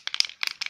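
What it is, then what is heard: Nail polish bottle being shaken. A glass nail polish bottle with glitter inside is shaken before use, giving three quick bursts of bright, dry rattling. The clicks are sharp and high-pitched, with almost no low end and no ring after each burst.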